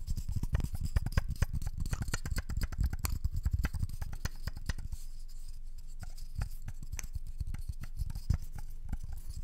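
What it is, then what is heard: Wooden candle lid scratched and tapped. Long nails scratch and tap the edge and surface of a round wooden candle lid held in both hands close to the microphone. The result is a rapid stream of short, dry taps and clicks with a deep, thumpy low end and faint bright scratchy edges. The sound is busiest and loudest in the first half, then turns softer and sparser with a faint steady low hum underneath.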